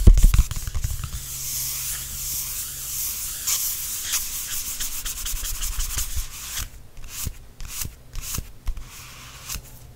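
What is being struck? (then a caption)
Glossy paperback book cover. Fingertips rub and tap the glossy back cover of a softcover paperback, first while it is held, then while it lies flat on a blanket. A few soft low thumps open the clip, followed by a steady, bright, papery rubbing. It ends with a run of short, dry taps and brief strokes.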